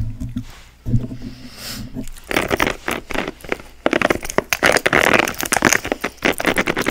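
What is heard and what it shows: A hand-sized grey silicone scalp massager with soft, flexible spikes is held in both hands and scratched and tapped across its back and spikes with long acrylic nails. A low, humming tone in the first two seconds gives way to dense, crackling scratches and quick taps that grow louder and busier toward the end.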